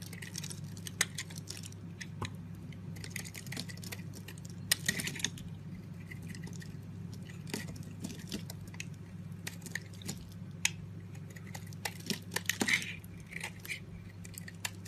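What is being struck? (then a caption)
Soap bar cut with a blade. A box-cutter blade shaves a solid, palm-sized, rectangular green soap bar held in the hand, scraping off flaky chips. Many short, dry, crackling scrapes with a bright edge come in quick bursts over a steady low hum, with a few sharper cuts standing out.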